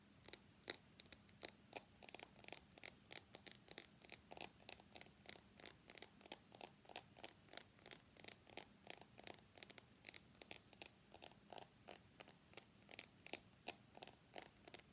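Fingernails tap and scratch the polished stainless steel side frame of an iPhone X held horizontally in both hands. About sixty quick, bright clicks follow one another in steady runs, each dying away almost at once, over a faint steady hum near 200 Hz.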